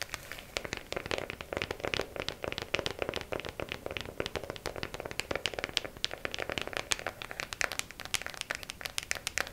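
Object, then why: Small plastic compartment organizer box. A small, hollow, clear plastic compartment organizer case with press-on nails inside is held upright and tapped and scratched quickly with long acrylic nails. The result is a steady stream of light, bright, clicky taps mixed with brief scratchy rasps. Each tap is dry and stops almost instantly, with very little low end.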